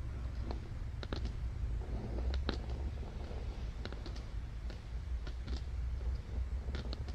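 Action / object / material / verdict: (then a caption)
tap / thick glossy cardboard book page / cardboard / none. Fingertips and long dark-painted nails tap and scratch across the printed page of an open padded children's board book with thick glossy cardboard pages, lying flat on red fabric. Sharp, bright clicks and short scratches sound over a steady low rumble throughout.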